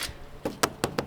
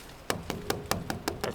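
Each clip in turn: First: water pipe full of water. Second: empty water pipe.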